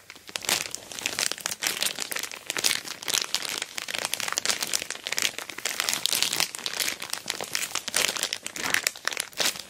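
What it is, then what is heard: Plastic mailer bag over a box. Long black fingernails tap and scratch while fingertips rub an orange glossy plastic shipping mailer bag wrapped over a boxed dual camera dash cam. A continuous, dense crinkling and crackling fills the clip, bright and hissy with almost no low end, broken by quick sharp scratches and taps.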